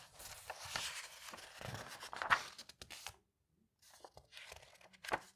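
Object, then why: Aged paper pages of a bound magazine volume. Fingertips with painted nails rub across and flatten an open aged paper page of a large, thick hardcover bound volume of the vintage illustrated magazine Le Patriote Illustré, then turn the pages by hand. Dry, bright papery rustling and crinkling swells with sharper crisp flicks, breaks into a brief silence, then resumes softly before ending on a quick, snappy page turn.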